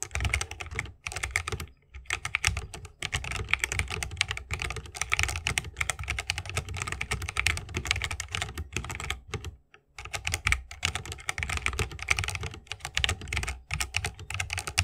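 Fingertips of both hands type continuously on a 60% mechanical keyboard with plastic keycaps and tactile Holy Panda switches in a bamboo wooden case. A dense stream of crisp, bright clacks with a deeper thock underneath rattles on, broken only by brief pauses near 2 and 10 seconds.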